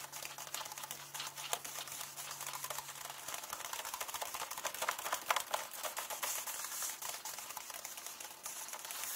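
Fingernails tap and scratch rapidly across the paper pages of an open hardcover book, making a dense, bright stream of dry clicks and scrapes. A faint low hum sits underneath and its lowest part drops out after about three seconds.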